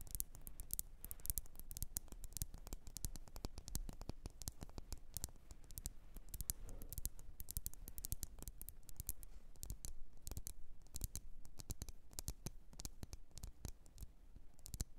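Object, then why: Wax-filled glass candle jar. Long nails tap rapidly and continuously on a red glass candle jar that is lit and filled with wax. The result is a dense run of short, sharp clicking taps with bright, crisp edges that die away almost instantly, over a faint, steady low rumble.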